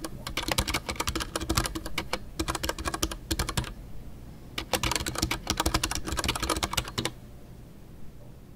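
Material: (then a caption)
Plastic. A full-size Ducky One 2 mechanical keyboard with a white plastic hollow case, MX Brown switches and Milky Way doubleshot PBT plastic keycaps is typed on rapidly with the fingertips of both hands. Dense bursts of sharp, bright key clacks with a low thocky body run for about 3.7 seconds. After a short pause of soft, quiet handling, a second burst follows and stops near 7 seconds.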